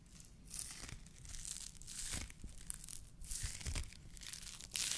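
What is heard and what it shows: A white polyethylene foam fruit protection net, a hollow mesh sleeve, is stretched, squeezed and rubbed with the fingers of both hands. It makes continuous crinkling, tearing-like scratches and squeaky rubbing in uneven surges, with a bright hiss over a soft low rumble, ending on a louder burst.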